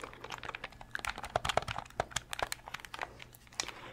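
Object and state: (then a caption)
Plastic game controller. Fingernails tap on a translucent purple Nintendo 64 controller made of hard plastic and press its colored buttons. A quick, uneven run of short, dry plastic clicks and taps comes with faint crinkly ticks. Each sound dies away almost instantly.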